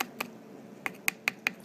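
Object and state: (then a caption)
Thin skull bone at the squamous temporal region. Six light taps on the thin squamous part of a skull's temporal bone near the pterion give short, bright, high-pitched clicks centered around 2.5 kHz, with almost no low end. Each tap dies away almost instantly with no ring.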